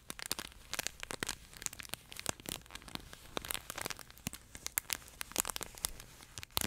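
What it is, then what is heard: Crinkle pet toy. A yellow plush pet toy with a flat fabric body and a crinkle insert is pinched, squeezed and scratched by both hands' fingertips. It gives a dense run of bright, crackly crinkling bursts that stop short and overlap, with a soft fabric patter beneath.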